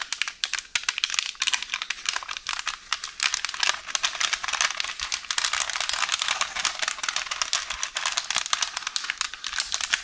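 Long orange nails scratch and press a wrinkled roll of beige baking paper resting on a counter. The result is a continuous stream of dry, bright crinkling and crackling with sharp, quick-dying snaps and almost no low end.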